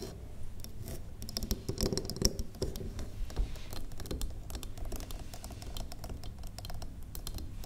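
Long acrylic nails on both hands tap rapidly across the faces of a large, square, solid wax pillar candle. The result is a dense, continuous patter of short, dry clicks with a dull, low body and a faint bright edge, each tap dying away almost instantly.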